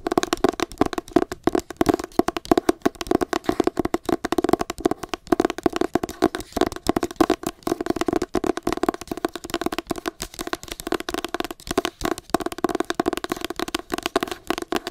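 Long nails tap and scratch the cover of a solid, teal cloth- and paper-covered hardcover copy of "Me Talk Pretty One Day" held close to the face. The result is a steady, rapid stream of short, dry clicks and rasps for the full clip, with a hollow, woody tone centred in the low-mid range and very little deep bass or bright high end.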